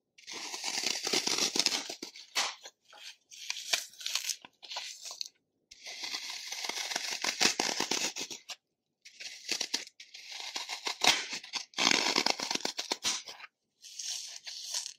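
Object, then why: Green floral foam block. Fingertips grip, scratch and crush the corner of a dry, solid, porous green floral foam block held over a bowl of foam crumbs, breaking off crumbs. Bursts of dense, crisp crunching and crackling with a bright hiss come in uneven stretches separated by brief silences. The foam crumbles away with each squeeze.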